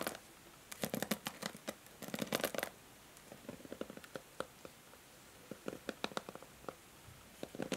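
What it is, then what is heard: Plastic hair brush. Long nails scratch and strum the white plastic bristles of a pink plastic paddle hair brush. Dense clusters of bright, crackly ticks come in quick bursts, separated by quiet pauses with single plucks. Each tick is short and dry, with almost no ring.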